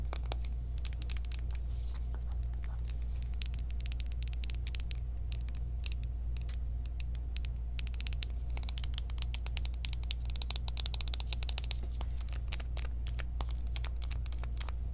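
Long nails tap fast on the sides and back of a small, hollow pink cardboard eyeshadow palette box, making a steady run of crisp, keyboard-like clicks. The dry, bright taps come in quick, uneven bursts over a constant low hum for the whole clip.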